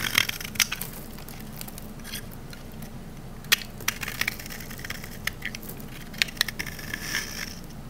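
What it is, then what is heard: Olive oil soap bar scraped with a blade. A rectangular green olive-oil soap bar, held in the hand, has its face scraped with a metal utility knife blade, cutting off crunchy shavings. Dry, crackling scrapes with bright crisp snaps come in irregular bursts over a low, steady background rumble.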